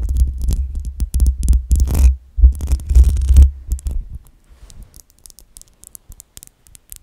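Long acrylic nails scratch and rub the hollow metal mesh grille of a black USB microphone, producing dense, deep thumping rumbles layered with scratchy, bright rasps. The loud rubbing runs for about four seconds, then drops to faint, scattered scratches for the rest of the clip.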